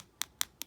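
Three quick taps on an acrylic dip-powder nail coating whose activator has set give short, bright clicks with almost no ring and a sharp, high tone. The higher, sharper sound shows the activator has set, and the nail is judged good.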